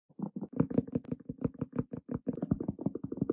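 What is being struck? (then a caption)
Bell pepper. A hollow bell pepper is tapped in a rapid, uneven run of quick taps, each a short, dull, low thud around 200 Hz with almost no ring.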